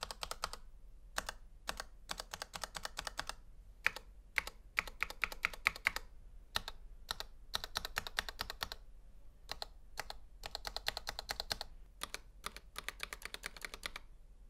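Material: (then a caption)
Plastic. Gloved fingers type on a full-size black plastic Razer Huntsman V2 Analog mechanical gaming keyboard, with its hollow housing and switches, resting on a white table, pressing single keys and the spacebar. Quick bursts of sharp, bright, clacking keystrokes are separated by short pauses, each click dying away almost instantly, with a few louder strikes standing out.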